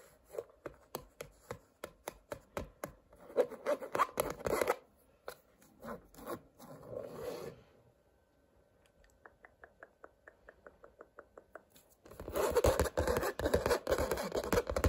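A fingertip and nail scratch and rub along a stretched painted canvas with a woven texture and colored blocks. Quick, crisp scratching strokes come first, then longer rubbing passes and a near-silent pause. After a run of light, evenly spaced ticks, the clip ends in a dense, louder stretch of continuous scratching.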